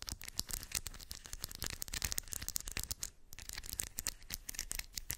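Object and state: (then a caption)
Metal beads in a cork coaster. Long white acrylic nails scratch and tap across small shiny silver metallic beads filling a round cork coaster. The result is a dense, bright stream of quick clicks and rattling scrapes with almost no ring, broken by a brief quieter gap a little past the three-second mark.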